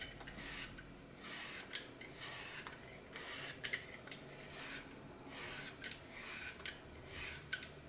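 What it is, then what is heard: Floral foam block being shaved. A red-handled blade shaves the edges off a small, solid green floral foam block with a glitter-coated face, held in the fingers, and the pieces fall into a glass bowl. Soft, bright rasping strokes repeat steadily, with occasional sharp little clicks and crackles.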